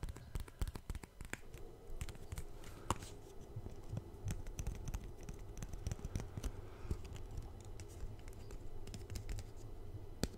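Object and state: Paper concert ticket.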